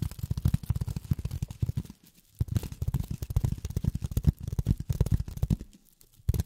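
Long fingernails tap rapidly on polyethylene foam, making a quick run of dull, low thuds with short ticking edges. The bursts pause briefly twice before the tapping starts again, and each tap dies away almost instantly.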